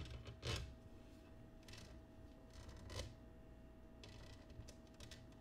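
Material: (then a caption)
Glass. Fingernails and fingertips tap and scratch the base and rim of an empty, clear, patterned cut glass oval dish resting upside down on a table. Soft, dull taps mix with brief, bright scratchy bursts over a quiet, steady low hum, with a few louder taps standing out. The sounds die away quickly, leaving no lingering ring.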